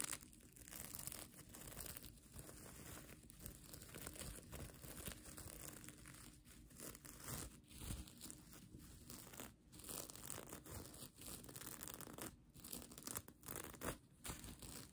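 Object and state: Plastic sequin blanket.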